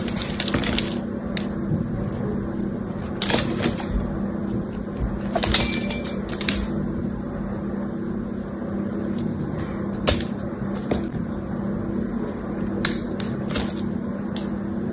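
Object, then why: Bar of soap cut with a knife. A knife cuts and carves chunks and curls off a solid green bar of soap held in the hand. Crisp, scattered cracking and scraping snaps rise over a steady low hum throughout.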